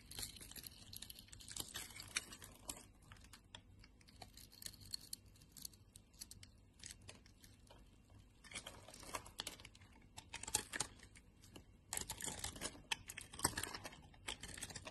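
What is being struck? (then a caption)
Glycerin soap bar. A solid yellow glycerin soap bar, held in a hand with long dark nails, is scraped with a utility knife blade to release small cubes. Dense, crisp, bright scraping and crackling runs throughout at a low level, with the strokes coming in louder bursts around 9 seconds and again between 12 and 14 seconds.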